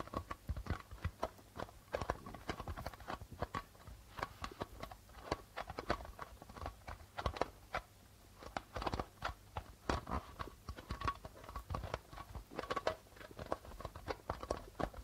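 Fingertips and nails tap rapidly on the white plastic membrane of a hollow darbuka drum. The result is a steady stream of short, dry, quick-decaying taps with a hollow thump and a pitched tone around 500 Hz, some taps sharper and louder than others.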